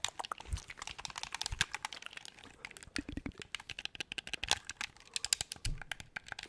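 A hand-sized, hollow, clear-shell transparent plastic Xbox-style game controller is held in both hands while fingertips and thumbs rapidly press and tap its buttons and shell. The result is a fast, dense stream of short, dry, clicky taps that sound like typing, bright and high with a little low thump beneath.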